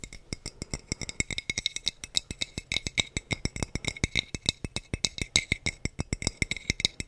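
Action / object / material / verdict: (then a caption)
tap / glass wine bottle / glass / none. A hollow, clear glass wine bottle with a teal cap is held close to the mic and tapped on its neck and body with the fingertips. About 50 quick, dry taps come in a steady, fast run, each a bright glassy tick with a short ping near 3.8 kHz that dies almost at once.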